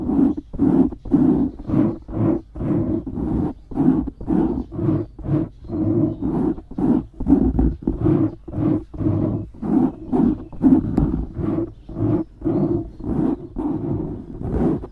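Nails and fingertips scratch the top of a black foam windscreen on a microphone. The result is a steady run of rough, muffled, roar-like rubbing bursts, about two strokes per second, and they are heavy in the low-mids with no bright top.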